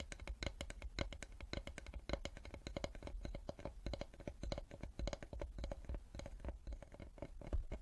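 Long nails and fingertips tap and scratch the face and edge of a solid light-wood cutting board held upright in both hands. Rapid, dry, clicky taps with very short decay mix with soft scratching, over a low steady hum.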